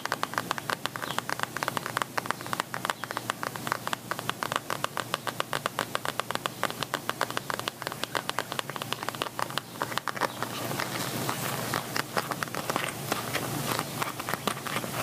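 Medium-length painted nails tap and scratch across a small, soft, hollow red glossy quilted patent vinyl zip cosmetic pouch held up in the air. Rapid, crisp, dry clicks with a bright, hissy edge run in quick succession. After about ten seconds they blur into a denser, steadier scratching rustle.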